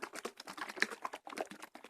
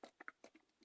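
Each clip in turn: First: watery coconut milk in a carton. Second: thick, creamy coconut milk in a can.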